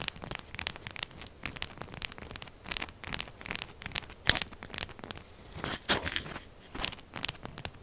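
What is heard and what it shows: Long purple glitter nails fast-scratch and tap the textured surface of a palm-sized, solid rectangular pink soap bar standing upright on a dark table, with soap shavings around it. The result is a rapid series of bright, crisp scratching and crackling bursts with almost no low end, each dying away instantly. A few louder, harsher scrapes stand out near the middle and toward the end.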